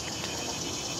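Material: Nothing is struck.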